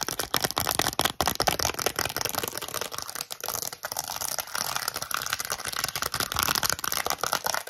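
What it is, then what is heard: Press-on nail set on a cardboard card. A set of plastic press-on nails on a small flat cardboard card, held close to the camera, is tapped and scratched with long acrylic nails. The sound is a fast, dense run of crisp, bright clicks and scratchy rasps with almost no low end. The taps stay short and dry and blur into a continuous crackle.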